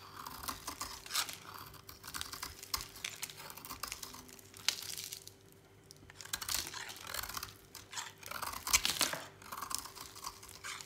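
A utility knife blade carves a solid, dry orange oval bar of soap held in the hand, scraping and cutting it into crumbly flakes. Dense bursts of bright, dry scraping and crunching run throughout, with a brief quieter pause near the middle and a faint steady hum underneath.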